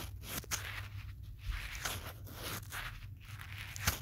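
A pen tip held in the fingertips traces and taps the back of a small, solid smartphone in a teal plastic case, with the phone itself doing the recording. Soft, scratchy rubbing sweeps across the plastic, broken by a few brief, bright clicks from the taps, over a steady low hum.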